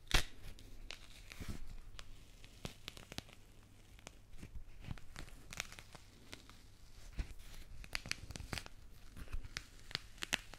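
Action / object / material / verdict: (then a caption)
scrape / mandarin peel / citrus peel / none. A small whole mandarin held close to the microphones has its orange peel scratched and torn off with long pink nails and fingertips. The result is a quiet run of sharp, crisp tearing and crinkling snaps with bright edges over a low hum.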